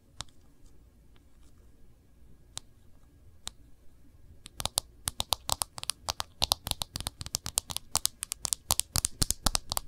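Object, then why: Smartphone in a plastic protective case. Fingernails tap and scratch on the back and rim of an iPhone in a protective case, held with its back side facing out. A few scattered, quiet taps give way after about four and a half seconds to a rapid, uneven run of sharp, bright clicks and scratchy strokes that stop instantly with no ring.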